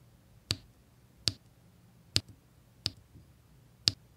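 A drill pen with a metal tip taps small solid square resin diamond-painting drills down in rows onto a flat adhesive canvas. Five sharp, bright clicks land at uneven intervals, each dying away almost at once, over a low, quiet hum.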